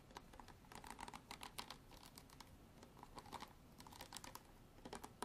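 A hard plastic bottle is tapped and scratched with long artificial nails for ASMR. Quick, quiet, irregular clicks and light scrapes sound throughout, each dry with almost no ring, giving a bright, crisp texture.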